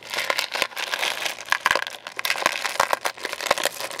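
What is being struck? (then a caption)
Hard sugar-shelled candies in a plastic container. Fingertips wearing rings stir and sift through small, hard sugar-shelled candies, jelly beans and coated chocolates, in a large clear plastic food container about half full. The candies click against each other and the plastic walls in a steady, dense crinkling rattle with bright, sharp clicks and almost no low end.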